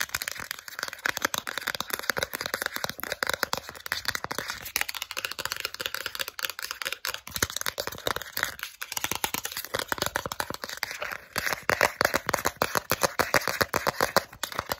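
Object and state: Plastic gift card.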